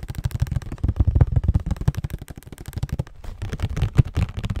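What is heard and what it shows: A hollow cardboard Scotties tissue box is turned in the hands while fingernails tap and scratch across it. The result is a dense run of quick, dull, low thumps with soft scratchy rustling in between, with almost no bright high content.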